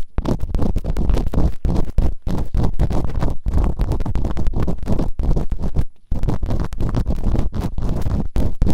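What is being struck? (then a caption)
Silicone ear model scraped with a bamboo earpick. Bamboo earpicks, held in fingertips with long nails, scratch and rub inside both open canals of a white binaural microphone's two soft, solid rubbery silicone ear models. The result is a fast, dense stream of deep, muffled scraping and thumping, almost all low rumble with no bright edge. It runs nearly continuously, with a brief dip in the middle and another just past six seconds.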